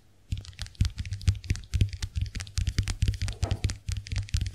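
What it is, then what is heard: Plastic compact hand mirror. A small round white plastic clamshell compact hand mirror is held open while long nails tap rapidly on its dotted plastic shells. The result is a fast series of short, dry clicks with bright edges over a low thump, each dying away almost at once.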